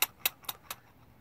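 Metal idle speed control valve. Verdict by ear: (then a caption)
Loose. A metal idle speed control valve from a BMW Z4, cleaned of carbon buildup with brake cleaner, is shaken and gives four sharp, bright metallic clicks as its internal part rattles. The free movement shows the valve is working again, where before cleaning it was barely moving.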